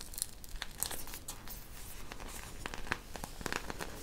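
A hand-sized soft squishy toy covered in small colorful plastic beads is squeezed and pressed with long painted nails and fingertips close to the microphone. It gives off a steady stream of crinkly, crunching crackles, with sharp bright clicks standing out above a dense rustle.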